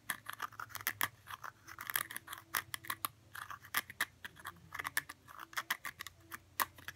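Fingernails scratch the top of a round cork stopper on a small blue glass jar. They make a quick series of short, dry, crackly scrapes with a bright, papery edge and almost no ring. The scratching comes in uneven bursts that start and stop throughout.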